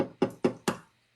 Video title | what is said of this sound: Spam Musubi Bowls on SNL with OctoberDragonFly | it almost sounds like a crack but it's actually the inner lining releasing from the egg when you barely tap it